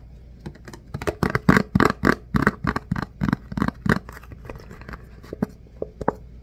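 A thin, flat, hand-sized clear plastic food container lid with hollow edges, held in both hands, is tapped and scratched with the fingertips. Quick, uneven taps and scrapes give dull, hollow plastic knocks with short scratchy rasps, loudest in the middle of the clip and fading toward the end.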